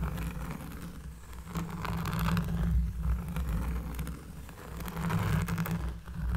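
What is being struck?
Cork trivet.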